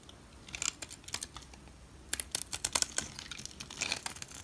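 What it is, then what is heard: Bar soap being carved. A utility knife blade carves and scrapes flakes off a solid olive green bar of soap held in the hand. The sound is a quick series of crisp, bright scraping crunches and dry clicks, coming in two bursts with quiet gaps between. Each stroke stops instantly with no ring.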